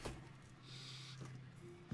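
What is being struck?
Nothing is struck.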